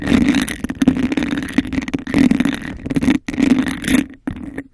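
Long acrylic nails tap and scratch fast across a hollow, empty, hand-sized cup of embossed textured glass held over the microphone. Dense bursts of scratching and tapping carry a hollow resonance around 260 Hz with a bright rasping edge. The rhythm breaks with brief pauses near the end.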